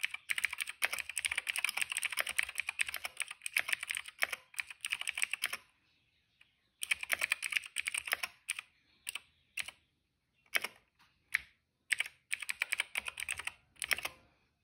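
Fingertips type on a cream plastic retro mechanical keyboard with plastic keycaps and a hollow case. Fast runs of bright, clicky keystrokes with no low end come in bursts, broken by a near-silent pause around six seconds. The typing then returns as shorter runs and scattered single taps.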